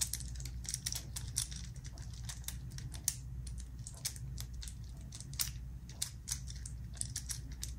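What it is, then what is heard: Metal infinity cube fidget toy. A small black metal infinity cube made of hinged solid blocks is held in both hands over an open zipper case while fingertips fold and flip its segments. Quick, bright clicking knocks come in an irregular stream over a steady low hum.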